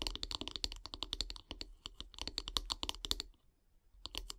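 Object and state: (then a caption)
Wooden bath brush handle tapped with fingernails. Long grey nails tap and scratch quickly along a solid light-wood bath brush handle, making a dense run of short, bright, dry clicks with little ring. The tapping pauses briefly near the end, then resumes with a few more taps.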